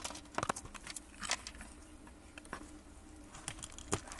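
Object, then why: Bar of soap cut with a metal blade. A gloved hand works a metal blade into a solid brown soap bar scored in a grid, popping off small cubes. The result is a quiet series of short, dry, bright snaps and crisp clicks with almost no ring, scattered irregularly over a faint scraping background.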